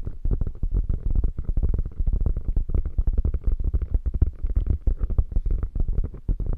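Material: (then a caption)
Faux leather. Long nails on both hands scratch rapidly across a hollow, padded, beige quilted faux leather bag. The result is a dense, continuous stream of short, muffled scratches and soft thumps that sounds deep and low with almost no bright edge.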